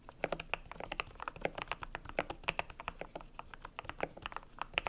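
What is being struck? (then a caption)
Mechanical keyboard with PBT plastic keycaps. Fingertips type steadily on a cream compact mechanical keyboard with PBT plastic keycaps, producing a rapid, uneven run of short clacks. Each keystroke is crisp and bright with a bit of mid-range body and almost no ring, decaying instantly, over a quiet background.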